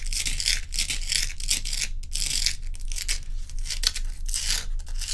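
Long nails scratch and tap the frosted surface of a large, solid, round ice block held in both hands. Bright, hissy scraping strokes come in quick, uneven bursts with brief gaps, over a steady low rumble.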